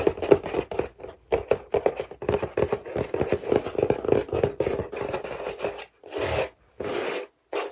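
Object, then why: Printed cardboard toy box with a clear plastic window. Fingernails and fingertips scratch and rub across a medium printed cardboard toy box with a clear plastic window, holding toys and lying on a lap. Quick, dry scratching strokes come in rapid bursts, centered in the midrange. Toward the end they give way to a few longer, smoother rubbing passes.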